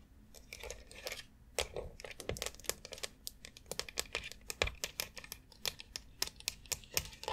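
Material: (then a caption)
Plastic. Long acrylic nails tap and scratch across the rounded nubs and central dome of a white plastic foot massager board. The result is a rapid, uneven run of sharp, bright clicks with very short decay, joined by dry scratchy rustling between the taps.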